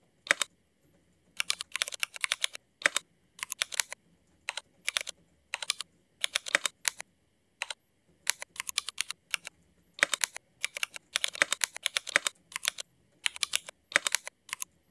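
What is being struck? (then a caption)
Mechanical keyboard with ABS plastic keycaps. Fingertips of both hands type continuously on a Cherry MX mechanical keyboard with black ABS plastic keycaps. Quick bursts of crisp, bright, clacky keystrokes come with very short decay, separated by brief pauses.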